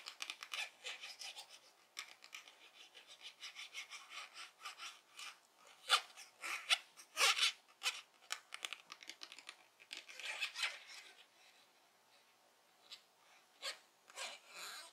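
A small clear rigid plastic case is scratched and tapped with long painted fingernails. Dense, bright, rasping scratches and quick sharp taps come in uneven bursts with short pauses, high-pitched and dry with almost no ring.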